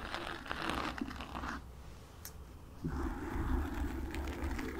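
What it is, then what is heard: Foam microphone windscreen being scratched. Long acrylic nails on both hands scratch and tap the black porous foam windscreen of a desktop microphone, making a dense, crinkly rasp over a heavy low rumble. The scratching eases into a quieter stretch at about 1.6 seconds, then returns louder and fuller at about 2.8 seconds through to the end.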